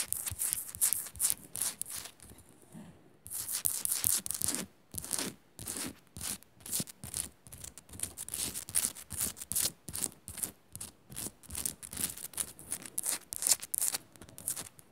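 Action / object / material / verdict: scrape / pink rock-salt lamp / rock salt / none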